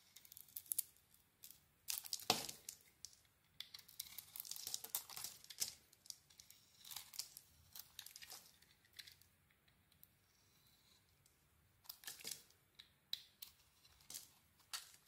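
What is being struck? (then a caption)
Soap bar cut with a blade. A utility knife blade carves a solid cream bar of soap with a gold coating, scraping and cutting into it. Bright, crisp scrapes and crackly tearing strokes come in short bursts with almost no low end, pause briefly near the middle, then resume.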